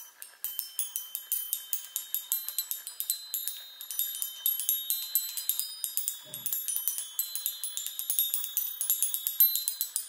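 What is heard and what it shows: Long nails tap and run rapidly across the hollow metal tubes of a small handheld chime on a wooden frame. About 46 quick, bright, high metallic plinks each ring briefly over the soft shimmer of the tubes.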